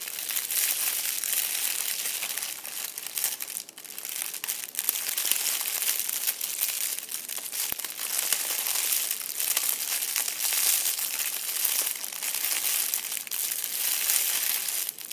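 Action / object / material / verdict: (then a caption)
scrape / crumpled metallic foil ball / metal foil / none. A hand grips and crushes a loosely crumpled, hollow-ish, fist-sized purple metallic foil crinkle ball on a chair seat. Dense, continuous crinkling and crackling with a bright, hissy character and almost no low end carries on steadily for about 15 seconds.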